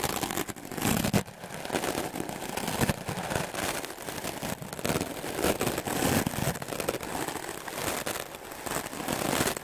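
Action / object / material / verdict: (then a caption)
scrape / melamine foam sponge / melamine foam / none. A wooden clothes brush with dark bristles is swept fast and aggressively over a solid block of white melamine foam magic eraser sponge. The result is a dense, continuous run of scratchy, crackling strokes across the full range, with a bright bristly hiss and occasional sharper swipes standing out.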